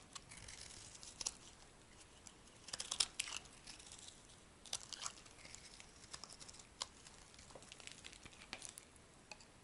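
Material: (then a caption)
Soap. A metal blade shaves a solid white bar of soap, and brittle slices break off. Quiet, bright, dry crackling and scraping come in irregular bursts, with a few sharper snaps standing out.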